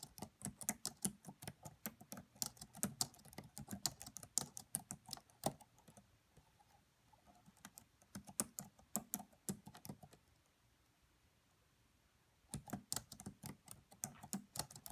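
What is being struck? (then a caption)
Plastic laptop keyboard. Long nails and fingertips type on the black plastic keys of a red laptop, making quick, sharp, bright clicks and taps with little low body. The typing runs in bursts, softens around the middle, pauses for about two seconds near the end, then resumes.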